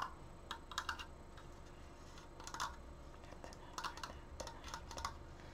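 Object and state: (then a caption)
Wooden frame, fast nail tapping. Fingernails fast-tap the slats and crossbar of a large, stained wooden triangular Triforce frame. The taps come as quick, dry, keyboard-like clicks in short bursts, each dying away almost instantly, over a quiet, steady low hum.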